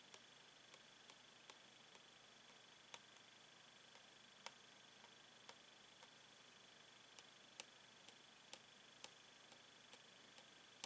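A metal pen tip taps repeatedly along a hollow clear plastic blister pack holding a toy pen on a yellow cardboard backing. The result is a series of quiet, sharp, bright ticks, each dying away almost instantly, over a faint steady hiss.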